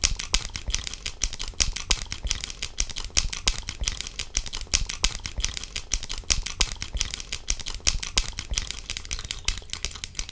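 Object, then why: Plastic sunglasses frame. Long nails on one hand tap and scratch the side of a pair of pink-tinted sunglasses with a clear plastic frame, worn on the face. The result is a steady stream of quick, dry plastic clicks with a bright, scratchy hiss and a soft low thump under each tap. Each tap dies away almost at once, and the pace runs fairly even throughout.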